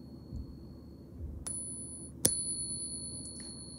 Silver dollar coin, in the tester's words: you can hear that ring